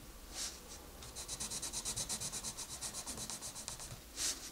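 A wooden colored pencil scratches and rubs across a paper coloring book page in dense, quick coloring strokes. About 18 rapid, bright, papery strokes repeat steadily in the middle of the clip. Each stroke is a short, hissy scratch. Louder single rubs come near the start and at the end.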